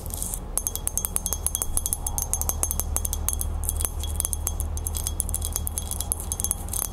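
Long nails tap and scratch quickly on the band and base of a small, hollow, silver-toned metal crown held in the hands. It makes a fast, uneven stream of bright metallic clicks with short, chime-like rattles that die away almost at once. A steady low hum sits underneath.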